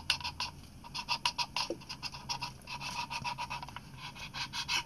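Fingertips and short nails tap and scratch the chrome metal top plate and leatherette body of an Olympus PEN EE, a small, hollow compact film camera held in both hands. A quick, uneven series of dry, bright clicks and scrapes follows, each dying away almost at once with little low-end weight.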